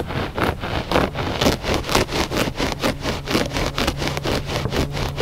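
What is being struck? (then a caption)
Looped-pile carpet rug. Fingertips and short nails scratch quickly back and forth across the loops of a gray looped-pile carpet rug in close-up. The result is a rapid, steady series of raspy, bright scratching strokes at about two per second, each with a short fibrous hiss over a faint low rumble.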